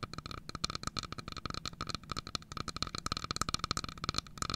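Long fingernails tap and scratch the wooden sides of a carved wooden domino box, about 20 cm long with a pale sliding lid, held in both hands. A rapid, uneven run of dry, sharp clicks and light scrapes is heard, with a bright woody tone around 1.3 kHz and no ringing after each tap.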